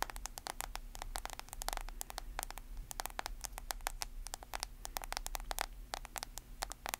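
A smartphone in a white plastic case, held flat and then edge-on, is tapped and scratched along its case edges and screen by long nails. Rapid, crisp clicks with bright tops and no ring follow one another throughout, over a steady low hum.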